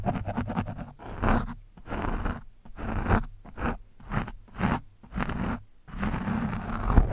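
A thin steel screwdriver shaft scratches and pokes an orange foam windscreen on a microphone, the soft, porous foam pressed right against the capsule. Quick crackly ticks open the clip, then a series of dense, low, muffled scraping bursts with short silent gaps between them, heavy in rumble and nearly free of high sound.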